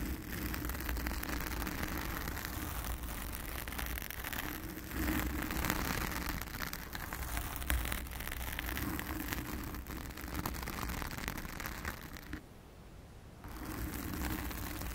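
Long acrylic nails of both hands scratch a blue foam cover on a round studio microphone, producing a dense, steady scratchy rustle with a heavy low rumble and faint brighter crackle. The scratching briefly drops to near silence for about a second, then resumes.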